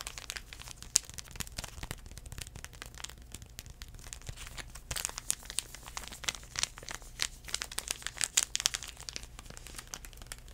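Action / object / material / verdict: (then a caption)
tap / foil-paper sanitizing wipe sachet / foil paper / none. A small sealed foil-paper sanitizing wipe sachet is tapped and crinkled by fingertips. The result is a steady stream of dense, bright, crackly crinkles and quick taps over a faint low hum.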